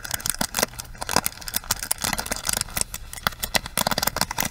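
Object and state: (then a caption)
Plastic hairbrush bristles scratched. The bristles of a small plastic hairbrush are scratched and rubbed with long acrylic nails. The result is a dense run of quick, bright, crackly clicks and scraping rustles with sharp attacks and almost no ring, over a faint low rumble.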